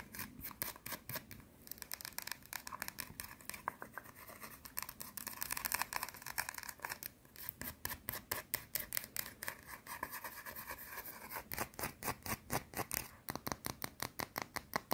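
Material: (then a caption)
Soap. A round, solid white soap bar held in the fingers is scratched and tapped with long teal nails. Rapid, crisp clicking taps alternate with bursts of dry, raspy scratching, bright and short with almost no ring.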